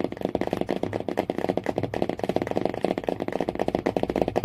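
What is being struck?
Cardboard hardcover book cover.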